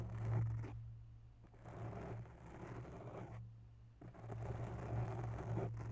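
Long bare nails of one hand slowly scratch and tap a grey foam microphone windscreen up close. The result is soft, muffled, low-heavy rustling and scraping that comes in swells, with brief quiet pauses between them.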